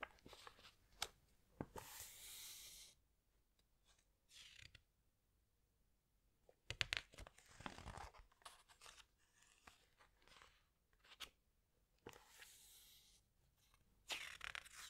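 Fingers with long nails rub and squeeze a glossy paper page of a large hardcover animal book, then turn it. Bright, dry crinkling swishes and sharp paper ticks come in bursts separated by near-silent pauses, with a louder flurry of rustling in the middle as the page turns.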